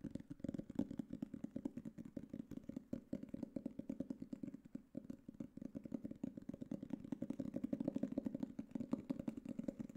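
Fingertips and nails tap rapidly and steadily on the solid board cover of a black hardcover book. The taps are short and dull, with a warm low-mid knock and almost no high ring. They run together into a continuous patter that stays even for the whole clip.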